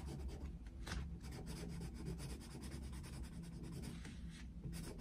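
A yellow wooden coloured pencil shades quickly back and forth across a Mickey Mouse picture in an open paper colouring book resting on a desk. The pencil makes a steady scratching, rubbing sound on the paper over a constant low hum.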